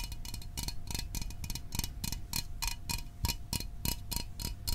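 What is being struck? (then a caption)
Small aluminium drink can. Fingernails tap quickly on the top and sides of a small, hollow Fanta orange aluminium drink can held in the hands. The result is a steady run of light, crisp metallic clicks with a bright, tinny edge, each dying away almost at once.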